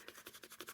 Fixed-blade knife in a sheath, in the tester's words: you hear just a little bit of a rattle when you shake it back and forth, which is not bad